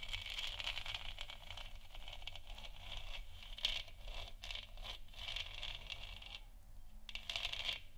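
Long nails scratch across the front of a lit, hollow plastic moon lamp sphere, then tap on its top. The result is a dense, bright, scratchy rasp centred near 3 kHz, broken by short rapid taps, over a steady low hum, with a brief quieter stretch before a final burst.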